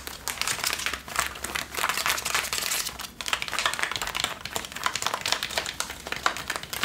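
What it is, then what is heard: Denim jeans scratched. Long nails and fingertips scratch and rub worn Levi's blue denim jeans on the back pockets and the waistband near the leather patch. The result is a dense, bright, crinkly rasp of quick scraping strokes with almost no low end, dipping briefly around one and three seconds before continuing steadily.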